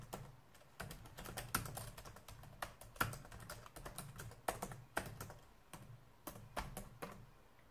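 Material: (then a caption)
Plastic. Fingertips type and press keys on a black plastic laptop keyboard. Soft, irregular clicks and taps come in quick bursts and pauses, each a short dull thump with a brief bright click that dies away almost at once.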